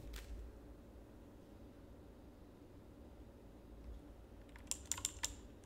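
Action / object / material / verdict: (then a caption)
tap / plastic mechanical keyboard / plastic / none. A full-size black plastic mechanical keyboard with RGB backlight, resting on a desk, is typed on with the fingertips of both hands. A quiet low hum fills most of the clip, with a soft click near the start. Near the end, a quick run of sharp, bright, dry key clicks comes through.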